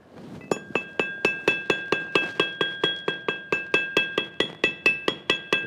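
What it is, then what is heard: Loose steel key, not fully seated. A loose steel key that is not fully seated, backed out slightly and braced against a leg, is tapped about 23 times in a steady run. Each tap gives a bright, clinking metallic ring around 2.6 kHz that dies away quickly, and the chattering ring shows the key is loose.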